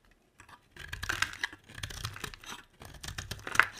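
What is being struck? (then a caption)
Solid bar of soap cut with a metal blade. A metal utility blade scrapes and carves a hand-sized, solid white bar of soap, with flakes piling up beside it. Short bursts of crisp, crackly scraping come in quick strokes with brief pauses between them, bright and papery with little low end.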